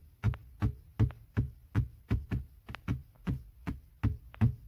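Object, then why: Padded leather car armrest. Fingertips and short nails tap and scratch a padded black grained leather center armrest, soft over a hollow base. It gives a steady run of dull, low thumps, each with a faint, brief tick of nail. The taps die away almost instantly.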